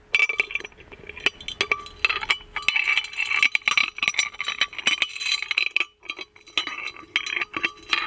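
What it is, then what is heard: Gold-plated metal magic lamp. The lid of a gold-plated metal magic lamp dangles on its small metal chain and is shaken against the lamp's body. The result is a quick, uneven run of many bright, high metallic clinks with a steady ringing tone around 2.6 kHz, each clink dying away almost instantly. Short pauses break up the run.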